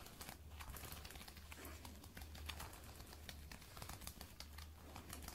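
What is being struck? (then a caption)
Faux leather boot shaft. Long red and black nails scratch and tap along the shaft of a glossy black lace-up faux leather thigh-high boot, worn on the leg so it sits soft over a solid leg. Dense, crinkly scratching and quick, dry taps run throughout, with bright clicks over a steady low hum.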